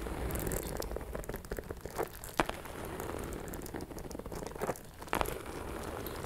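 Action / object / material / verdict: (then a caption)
scrape / faux leather purse / faux leather / none. Long metallic nails tap and scratch a small, closed, hollow pink metallic faux leather shoulder bag with a chain strap. A steady, quiet layer of crinkly scratching runs throughout, broken by soft, dull taps. A few sharper clicks stand out near the middle and toward the end.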